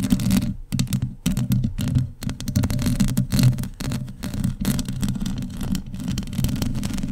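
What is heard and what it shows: Long decorated nails scratch across an uncovered, hollow metal mesh microphone head. The result is a dense, continuous run of quick scraping strokes with a heavy low rumble, flecked with brief bright crackles and short gaps between bursts.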